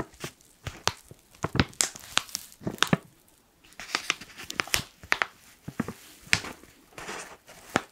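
Fingers scratch and crinkle a black foil coffee pouch, making a series of sharp, bright crackles and crunches. Quick taps and scrapes come between them, with short pauses in between.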